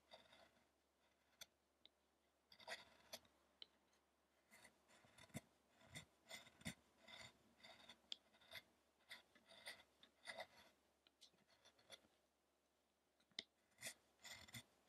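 A fine chisel scrapes and carves the face and side of a solid carved wooden Buddha statue depicting the penance of Shakyamuni, with the sculpture turned on its side. Quiet, bright, dry scraping and shaving strokes come in irregular bursts with short crisp clicks and almost no ring, separated by brief near-silent pauses.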